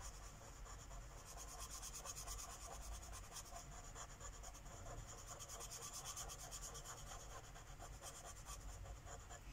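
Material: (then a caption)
Paper. A light purple Sharpie marker tip rubs across a flat paper coloring book page resting on a wooden table in steady coloring strokes. The result is a continuous soft, scratchy rubbing with a bright, papery hiss that pulses with each back-and-forth stroke.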